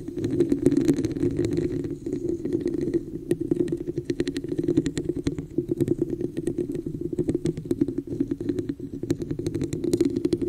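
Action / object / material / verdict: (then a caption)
tap / textured plastic cup / plastic / none. Long acrylic nails tap and scratch the sides of a glossy red plastic cup with a raised woven pattern, hollow and empty and turned upside-down over the mic. A steady hollow, boxy resonance hums underneath rapid, sharp clicks and bright scratchy ticks that come in quick bursts throughout.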